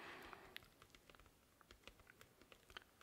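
A thin, flat, solid white cardboard comic backing board, held in both hands in front of the chest, is tapped and drummed on its surface with fingertips and nails. After a brief soft rustling wash at the start, about 15 quiet, dry, bright taps follow in an irregular patter, each dying away almost instantly.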